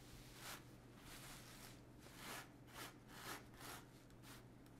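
A small stiff-bristled clothes brush sweeps across a blue and gold woven brocade fabric garment lying flat on a table while one hand holds it flat. Quiet, scratchy brushing strokes rise and fade in a steady rhythm, each a bright, airy swish, over a faint constant low hum.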